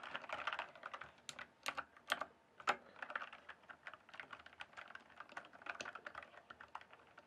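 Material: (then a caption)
Plastic. Fingertips type and tap on the keys of a full-size RGB backlit plastic mechanical keyboard with a hollow case. The result is a fast, steady run of dry, clacky key clicks, centered in the midrange with a bright edge and almost no low end. A few louder, sharper clacks stand out early in the passage.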